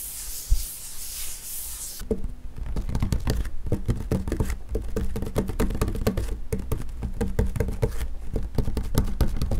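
Fingers rub across the flat top of a wood-grain school desk, a large solid panel, making a soft, airy brushing for about two seconds. Fingertips then tap on the surface in a rapid, uneven patter of dull, low, dry knocks that stop almost at once, continuing to the end.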